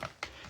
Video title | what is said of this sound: My First Terrarium Project | Sounds like glass, but charcoal.